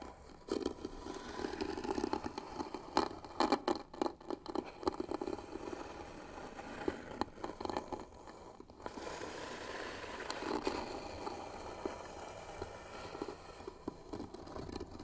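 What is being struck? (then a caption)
Wooden box with bead trim. Fingernails of both hands scratch across the closed lid of a hollow white wooden box trimmed with pearl beads. The result is a dry, raspy scraping with a woody hollow body, broken by quick clicky strokes in the first half. It then settles into longer, steadier scratching passes.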